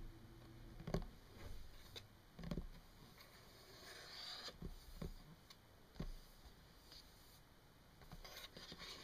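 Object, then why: Wooden tabletop. Long painted nails tap and rub across a solid, flat brown wood-grain tabletop. Soft, dull taps with a short ring are spread among quiet scratching and rubbing strokes. The low-end thuds stand out against a faint, bright hiss.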